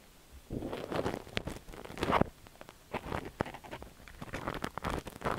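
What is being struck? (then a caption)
Silicone dummy-ear microphone scratched with a steel ear pick. A long thin steel ear pick with a spiral tip scratches inside the canal of a cream silicone dummy-ear microphone held by fingers. Close, muffled rustling and scraping come in uneven bursts, broken by sharp clicks and ticks.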